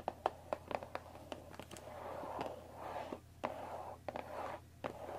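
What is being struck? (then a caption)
Thin cardboard tea box. Long dark nails tap the top of a closed Earl Grey tea box made of thin printed cardboard, about 20 cm long, likely full of tea bags and resting on a wooden table. The result is a quiet series of quick, dry, hollow taps with a mid-pitched papery tone and very short ring, separated by soft scratchy rustling of the nails across the card.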